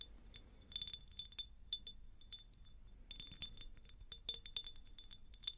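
A medium, hollow, empty faceted cut glass jar is held close and tapped with long nails. Quiet, bright glassy clinks come in quick, irregular bursts, each with a short, high ring that fades almost at once.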